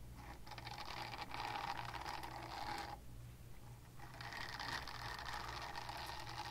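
A small pink oval silicone cleansing pad held in the hand is scratched with long painted nails, making a dense, bright, rasping scratch with a faint steady low hum underneath. The scratching runs for about three seconds, pauses briefly, then resumes at a similar level until the end.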